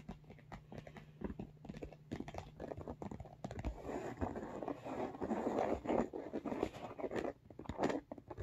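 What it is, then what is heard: Textured faux leather makeup bag, tapped and scratched. Short nails and fingertips tap and scratch along the top edge of a large, hollow pink makeup bag with an embossed, textured faux leather/fabric surface. The result is a rapid, irregular run of soft, dry, crunchy taps and scratchy rustles over a faint low hum, growing fuller and louder in the second half.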